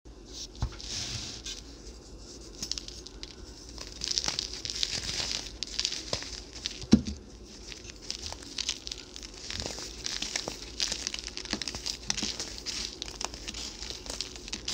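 Small balls of pressed white baking soda are squeezed and crumbled between the fingertips of both hands over a pile of loose powder. Dense, crisp crunching and gritty rubbing crackle steadily throughout, bright and hissy, with one sharper snap near the middle.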